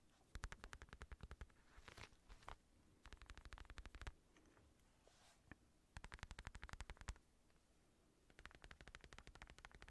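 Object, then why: Padded synthetic leather boxing glove. Fingertips tap the padded thumb and knuckle area of an empty black synthetic leather boxing glove with red lining. The result is quiet bursts of rapid, dull, low thuds with very short decay, separated by brief pauses.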